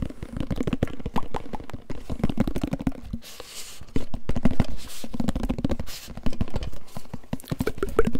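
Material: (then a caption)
Metal. A medium, hollow, gold-coloured metal tin can, apparently closed, is held in the hands and tapped rapidly with fingertips and nails close to the microphone while being turned and tilted. The result is a dense, fast stream of short, dull, low taps with a hollow boom, broken by brief brushing rustles.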